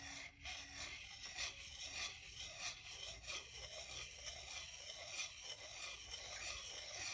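A solid wooden salad fork is scraped over the bowl of a solid wooden salad spoon. It makes a continuous dry, bright rasping rub in uneven back-and-forth strokes, about one and a half per second, with almost no low end.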